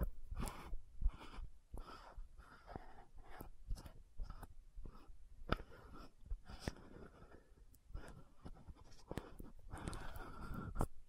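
Long nails tap and scratch the metallic gold cap of a hand-sized, orange-red frosted plastic lotion bottle. About nine short, sharp taps stand out among softer bursts of scratching. The overall sound is quiet, dry and close, with a low-heavy tone and almost no ring after each tap.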